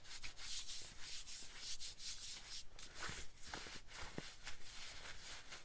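Fingertips and nails scratch and rub a light-wash cotton denim jacket worn on the body, working over the fabric on the chest and sleeve. Steady bright, papery scratching comes in quick repeated strokes over a low, soft rumble of handling.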